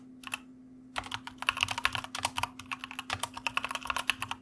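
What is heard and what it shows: A white plastic mechanical computer keyboard is typed on with the fingertips of both hands. A few light clicks are followed by a short pause, then a steady run of about two dozen sharp, bright keystrokes that stop almost instantly. A faint, constant low hum sits underneath.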